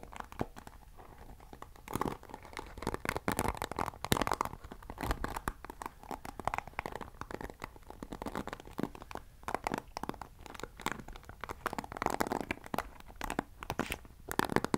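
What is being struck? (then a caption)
Plastic paddle hairbrush bristles. Fingers scratch the white-tipped bristles of a black plastic paddle hairbrush with a long handle, held upright. The result is a dense, dry stream of crackly, crunchy scratching clicks with no ring, swelling in louder bursts and easing between them.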